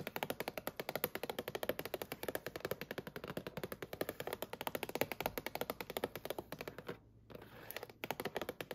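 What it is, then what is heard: Plastic salad clamshell. Long nails tap and scratch the lid of a clear plastic clamshell box of spring mix salad greens, full and lying in a shopping cart. A rapid, steady run of short, dry plastic clicks with quick decay continues throughout, with a brief pause near the seven-second mark before the tapping resumes.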